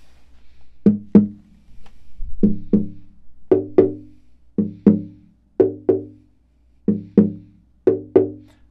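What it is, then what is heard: Acoustic guitar spruce top, tap tone. An unstrung, hollow acoustic guitar body with a Bolivian rosewood body and spruce top is held upright while its spruce soundboard is tapped with a thin wooden stick for a tap tone test. Fourteen short, woody knocks come in seven quick pairs, each with a warm, resonant tone around 200 Hz that fades within a fraction of a second.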